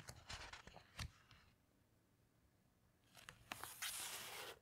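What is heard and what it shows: Fingertips slide along a heavy glossy page of a hardcover coffee table book, giving a run of soft, crisp brushing ticks, and after a brief near-silent pause the page is turned over. The turn is a louder, bright papery swish and rustle that fades out at the end.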